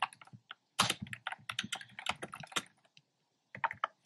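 Fingertips with short nails type on a black plastic keyboard with hollow, round retro-style plastic keycaps in cream, pink and red. Rapid, bright, clacky taps with quick decay and little low end come in a dense run, pause briefly, then resume with a few final keystrokes.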